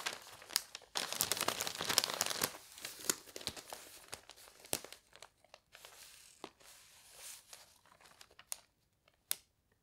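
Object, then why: Paper newspaper. An open paper newspaper lying on a bed is rubbed flat by palms and fingertips, and a page corner is lifted. Dry, bright crinkling and rustling swell and fade in bursts, broken by sharp paper crackles, before trailing off into near silence with a last snap.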